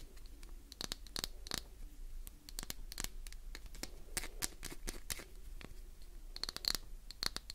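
A solid, translucent green glycerin soap bar, palm-sized and held in one hand, is scratched and tapped on its embossed surface with long acrylic nails. Quick, dry clicks and scraping strokes come in a rapid, uneven series, each with a bright, crisp edge and almost no ring. A faint low hum runs underneath throughout.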